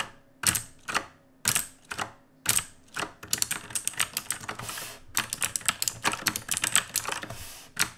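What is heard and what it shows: A black RGB-lit mechanical keyboard with plastic keycaps is typed on with the fingertips of both hands. It opens with slow, separate clacky keystrokes spaced about half a second apart, then breaks into a fast, dense run of bright, sharp clicks with short decays. A final strike comes at the end.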